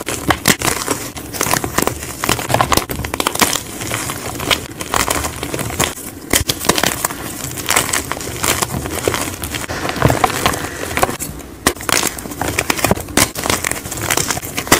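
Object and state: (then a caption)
Gym chalk blocks crumbled. Fingertips squeeze and crumble solid white gym chalk blocks of magnesium carbonate, from different brands, over a pile of chalk powder. A steady stream of dry, bright crackling and crunching snaps continues throughout, with sharp breaks standing out over soft gritty crumbling and very little low end.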